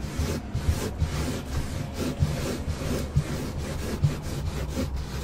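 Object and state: Car carpet floor mat.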